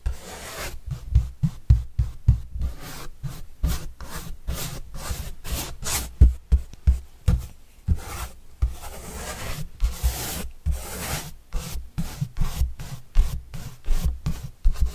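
A paintbrush sweeps across the surface of a large, flat, white corrugated cardboard pizza box with green edges, held upright and hollow. About thirty quick, rhythmic strokes each give a soft, hollow low thump under a faint, bright scratchy swish. Each stroke dies away almost at once.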